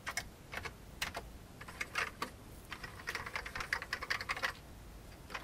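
Fingertips type on an old beige full-size plastic computer keyboard with hollow keycaps. Short, bright, hollow key taps come in an irregular rhythm, with a few spaced taps at first, then a quicker flurry. Each tap dies away almost immediately.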